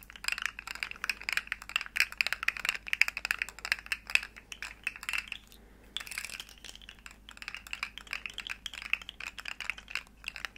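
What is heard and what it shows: Long nails tap and click rapidly over the segments of a small, hollow, rainbow plastic articulated slug fidget toy in quick, typing-like bursts. The dense, bright plastic clicks are sharp and very short, with a brief lull near the middle before the tapping resumes.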